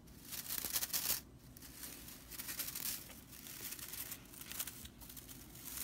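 Long purple nails scratch and flick the dry straw bristle edge of a broomcorn straw whisk broom. The result is a bright, dry, crackling rattle that comes in uneven bursts, with the loudest stretch near the start.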